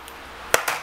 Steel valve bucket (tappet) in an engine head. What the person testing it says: give it a tap then you hear that knock that's your that's your clearance